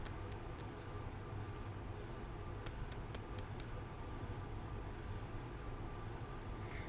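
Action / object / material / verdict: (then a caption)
tap / glass nail polish bottle / glass / none. A fingernail taps on a newly bought amethyst nail polish bottle, a shade called Crystal Mommy, making short, faint bright clicks in scattered clusters. A steady low hum sits underneath throughout.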